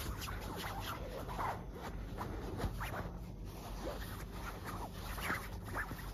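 Long black acrylic nails scratch and pinch a large, soft, white quilted fabric duvet that is filled. Quiet, continuous scratchy rustling and soft brushing sit over a steady low rumble, with faint brighter scrapes surfacing now and then.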